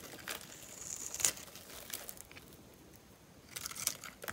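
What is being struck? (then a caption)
Bar of soap scraped by a metal knife blade. A metal utility-knife blade scores and scratches thin strips into the surface of a dry, hand-sized, solid oval bar of soap with purple and white stripes, held in one hand. Bright, crumbly scraping and crinkling bursts come in uneven strokes, with little low end and a faint high whine in places.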